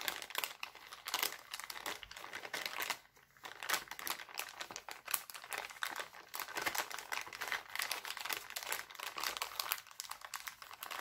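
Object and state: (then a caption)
Cellophane bag crinkling. A thin, empty, clear heart-printed cellophane bag is pressed with a palm and then crumpled by fingers. Dense, bright crackling crinkles run throughout with no low end, briefly dropping to near silence around three seconds before resuming.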